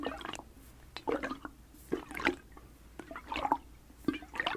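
A rubber hot water bottle filled with water is sloshed back and forth. It makes a series of short, wet gurgling sloshes about a second apart, with quiet pauses between them.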